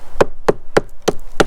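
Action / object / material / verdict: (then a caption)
strike / sandstone outcrop block / sandstone / hollow. A hammer strikes a detached sandstone block in an outcrop, which is cut off by a fracture running up and around it, five times in a steady rhythm. Each blow gives a short, dull, hollow knock centred near 550 Hz that dies away almost at once. The hollow sound shows the rock is loose rather than solid underneath.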